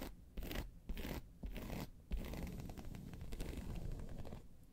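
Long pointed nails of both hands scratch across the top surface of a round, hollow, tan croc-embossed faux leather handbag. Short bursts of dry, rasping scratches run together into a steady scraping texture. The sound is weighted toward the low end, with quick, dead strokes that don't ring.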